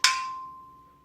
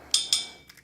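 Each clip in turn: First: A single sharp tap on a thick steel frame leaves a clear tone near 1 kHz ringing on. Second: Two bright metallic taps around 3.6 kHz on a steel bench frame that die away quickly, a dead sound.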